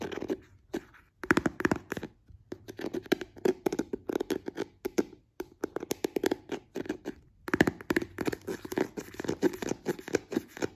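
An open white plastic cream jar, its green lid removed to show a white plastic inner seal, is tapped and scratched on the seal and rim with fingertips and nails. Quick, dry, hollow-sounding taps and scratches come in rapid bursts with short pauses between them, each one fading almost instantly.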